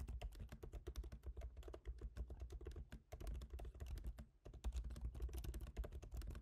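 Both hands type rapidly with their fingertips on a MacBook Pro keyboard, tapping black plastic keycaps set in a silver aluminum body. The result is a dense, steady run of short, soft clicks with a low, muted thud under each tap and a faint bright tick on top, with brief pauses near three and four and a half seconds.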